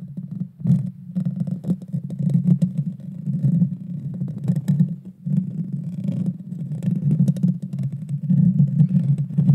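Long dark fingernails scratch the hollow metal mesh grille of a Blue Yeti Nano microphone from the top and sides. The scratching comes through as a dense, low, muffled rumble with constant rustling and brief brighter scrapes, dipping in a few short pauses.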